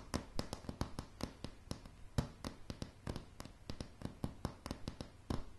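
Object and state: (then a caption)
Pine plank floor tapped with fingernails. Long, dark, polished nails tap rapidly and irregularly on solid light pine floorboards. Each tap is a short, dry knock with a bright clicking edge and a soft, low body, and it stops almost instantly with no ring. One tap near the middle and another near the end land harder than the rest.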